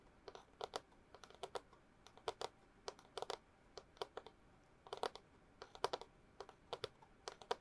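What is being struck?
Long cardboard tube.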